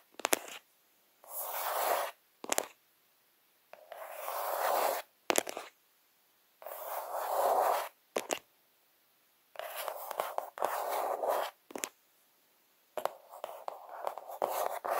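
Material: Cardboard.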